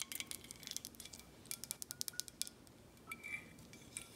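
Long acrylic nails tap and scratch a clear, thick glass Herradura tequila bottle held in the hand, including its embossed emblem. Quick, bright clicks and ticks come in uneven bursts, with brief faint scratching between them. Each tap is very short and high-pitched, with almost no low end.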